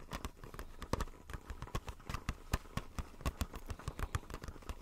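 A small, hollow retail blister pack, a clear plastic shell on a white printed card, is held upright in the hands and tapped with fingertips and nails. About 27 quick, uneven taps give dry, hollow clicks with a low thump beneath and a bright crackle on top. Each tap dies away almost at once.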